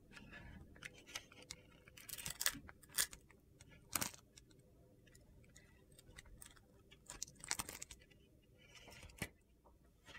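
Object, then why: Glitter-coated bar soap shaved with a metal blade. A metal utility knife blade shaves the surface of a solid navy and red glitter-coated bar soap held in the hand. It makes a quiet run of short, crisp, gritty scrapes and crunchy clicks, bright and dry with almost no ring, spaced by soft pauses.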